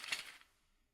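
A toy car inside a bag is shaken, and the small car rattles. The result is a quick, bright burst of rattling over the first half-second that then fades out.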